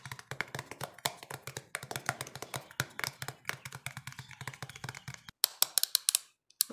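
Fingernails rapidly tap and scratch the wide blue plastic lid of a small, hollow, clear plastic bottle, making a dense run of quick, bright plastic clicks. After a brief pause, a few sharper, louder taps follow.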